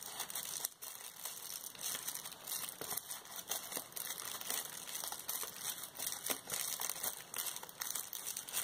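A large clear plastic bubble wrap sheet, held up by one hand with painted nails, is crinkled and shaken. The result is a continuous, bright crinkling texture dotted with sharp little crackles, with almost no low end.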